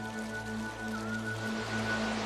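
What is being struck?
Nothing is struck.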